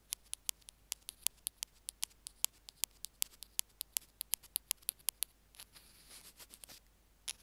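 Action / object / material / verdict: tap / small plastic earphone remote / plastic / none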